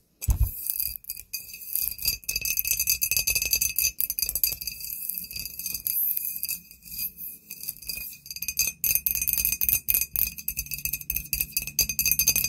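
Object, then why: Glass bottle. A glass bottle is tapped with fingernails, producing a rapid, continuous run of bright, glassy clinks with short ringing tones. A steady high ring sits above the taps, and some soft low thumps come through underneath.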